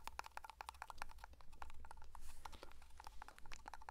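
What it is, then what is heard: Metal tin tapped with fingertips. Fingertips tap quickly on the lid and side of a small black metal pomade (hair cream) tin held close to a microphone. The result is a rapid stream of light, dry ticks, each with a short metallic ping around 1 kHz and bright edges, over a steady low hum.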